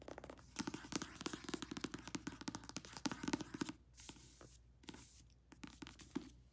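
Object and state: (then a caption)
Paperback book tapped and scratched. Long red-painted nails tap and scratch a thick, solid paperback novel with a glossy card cover and paper pages, working over the cover, spine and page edges. Fast, uneven bursts of sharp, dry clicks with a hollow low-mid knock give way around the four-second mark to softer, bright scratching. A few closing taps follow near the end.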